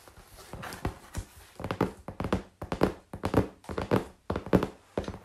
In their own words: Tapping on cardboard and scratching on it too!